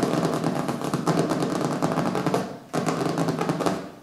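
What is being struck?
Hardcover book cover.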